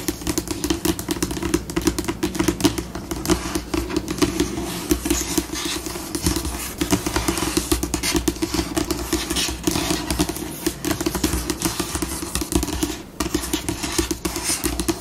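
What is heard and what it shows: Long pink almond-shaped acrylic nails tap and scratch quickly with both hands across a solid, flat, white glossy laminate tabletop. A dense, unbroken stream of sharp clicks and dry scratching fills the clip, with a steady low-mid tone beneath and bright, hissy edges. The pace shifts but never stops, with a brief dip near the end.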